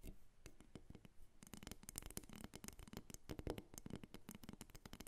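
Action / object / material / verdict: tap / small carved wooden figurine / wood / none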